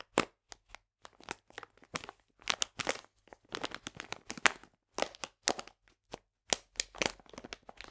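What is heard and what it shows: A full, printed plastic package of polenta is squeezed and crinkled in both hands. Bright, dry crackles and crinkles come in quick, uneven bursts with short silent gaps between them, and each burst stops at once with no ring.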